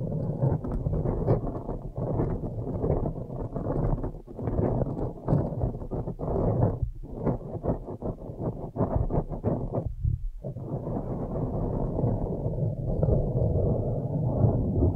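Long nails scratch the sides of a blue foam windscreen on a microphone, producing a dense, muffled rubbing and rustling that is deep and boomy with no bright top. The scratching runs almost continuously, with brief dips near four, seven and ten seconds before it resumes steadily.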